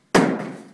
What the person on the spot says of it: you can hear how heavy it is